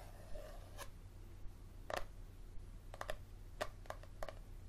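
Fingernails tap and scratch along the spine of a yellow paperback book held at an angle, making a quiet, irregular series of short, dry taps with soft scratching between them. The taps have a papery mid-range knock around 600 Hz with brief bright edges, over a steady low hum.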